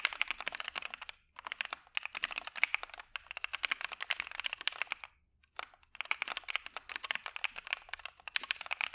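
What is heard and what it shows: A dark Maja mechanical keyboard with white PBT keycaps and PE foam is typed on with the fingertips of both hands. It makes fast, crisp, bright clacks centred around 2 kHz with no ring. The bursts pause briefly near 1 and 5 seconds.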